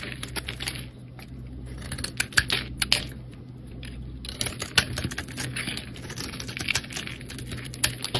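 A metal blade scrapes and carves a palm-sized, solid rectangular bar of soap, cream-colored with green and pink layered edges, held in the hand and peeling off thin curls. The sound is dense, crisp, bright scratching with quick clicky strokes and a few sharper cuts, over a steady low hum.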